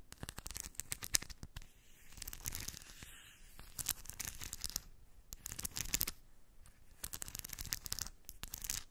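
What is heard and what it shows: Long white nails scratch and rub a small round cork dish of shiny steel ball bearings. Bursts of bright, dense clicking and rattling alternate with softer rubbing passages. The metal balls tick and shift against each other and the dish.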